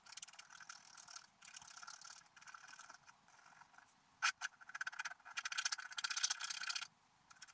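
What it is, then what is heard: Scratch art paper being scraped. A wooden stylus scratches away the coating on a flat, black-coated scratch art paper page. Dry, raspy scratching comes in quick bursts with short pauses, bright and thin with almost no low end. Sharper, louder strokes stand out near the middle and toward the end.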